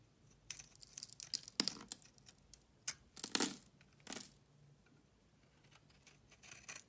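A metal utility blade shaves and scrapes thin curls off the surface of a solid, hand-sized tan bar of soap held in one hand. The strokes make crisp, bright scraping and crinkling rasps in irregular bursts, with longer drawn-out scrapes between short flicks and quiet gaps.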